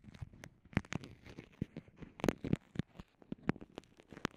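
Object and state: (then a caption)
Clear vinyl pouch. Long nails and fingertips press, crinkle and scratch a small transparent soft vinyl zip pouch with microphones inside. Heard up close, it makes a quick, uneven series of soft crinkles and dull taps, each with a thump low in the range and a brief bright hiss that dies almost at once.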